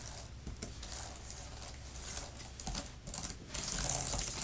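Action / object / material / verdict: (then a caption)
tap / plastic keyboard cover with plastic keys / plastic / none. Long-nailed fingertips type on a grey, thin plastic laptop keyboard cover with plastic keys and a fabric palm rest. The result is a rapid, irregular stream of bright, clicky taps over a soft low hum, growing louder and denser toward the end.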